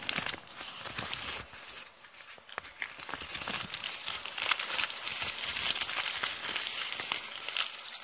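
Long painted nails scratch and crumple a partly torn sheet of thin brown kraft paper bag. The result is a steady stream of dense, bright crinkles and sharp crackles. It quiets briefly around the two-second mark, then picks up again with crisp snaps.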